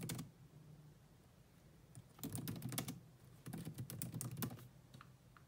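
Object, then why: Plastic laptop keyboard. Long nails tap two-handed across the black plastic chiclet keys of a grey laptop. Quick, uneven clicks come in short bursts, with a brief flurry at the start and two longer runs in the middle, separated by quiet pauses. The taps are soft and dry, with a low thud under bright clicky ticks.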